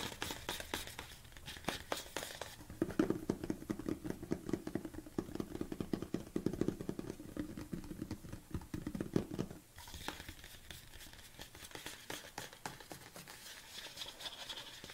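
Long black-painted nails and fingertips rapidly tap and grip the sides of a large, hollow, red-labelled BCAA plastic tub standing upright, probably partly filled with powder. Dense, crisp clicks and light scraping fill the clip, with a hollow, low resonant knock ringing through the middle stretch before the tapping turns lighter and brighter again.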